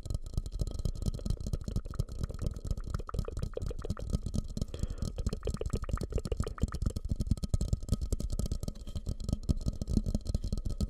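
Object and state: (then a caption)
Hollow, empty ceramic bowl. Fingertips rapidly tap and scratch a medium, fluted, glossy orange bowl, likely glazed ceramic, that sits hollow and empty upside down over the mic. The steady stream of soft, dull taps sounds deep and muffled, with a short hollow knock near 210 Hz and almost no ring. A faint, steady tone hums underneath throughout.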